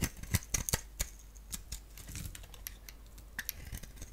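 A palm-sized, solid rectangular bar of soap with a black shell and a pink-striped interior is shaved into strands with a box-cutter blade. A quick, irregular series of crisp, dry clicks and scrapes with bright high edges comes over a low background hum, each cut stopping almost at once.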